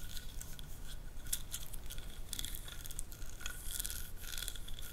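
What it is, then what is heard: Wooden ridged massage roller. Long nails scratch and tap along the ribbed grooves of a solid, light, hand-held wooden massage roller about 20–25 cm long, with small gems stuck on the hands. The result is a quiet, steady stream of dry, rasping scrapes dotted with bright, quick clicks that die away almost instantly, over a low rumble.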